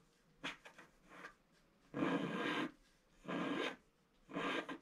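A thin wooden stylus scratches across a flat black sheet of wax-coated scratch art paper in a book while the other hand holds the page. A few short, light scratches come first, followed by three longer, louder raspy scrapes with a bright, broad hiss.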